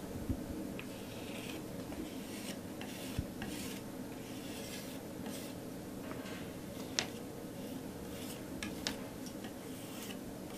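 A metal palette knife scrapes in short strokes across a flat canvas board covered in textured teal and pink acrylic paint. A soft, steady gritty rasp runs throughout, broken by a few sharp, bright ticks where the blade catches the paint.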